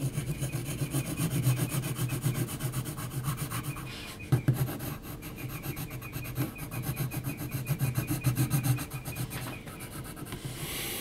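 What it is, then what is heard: Pencil hatching on textured paper. An HB graphite pencil is scratched in hatching strokes across a large flat sheet of heavy textured mixed-media paper. It makes fast, steady rasping scrapes at about three to four strokes per second, with a low, grainy body and brief lulls near 4 and 10 seconds. The scratching continues in short, rhythmic bursts throughout.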